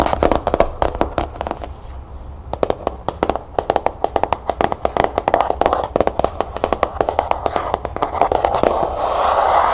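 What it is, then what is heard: Cloth-bound hardcover book. Long nails tap rapidly on the cover of a closed cloth-bound hardcover book with a cherry blossom label, resting on a table. The quick, dry, midrange clicks come in fast bursts with very short decay over a faint low hum. The tapping gives way near the end to a steadier, brighter wash of sound.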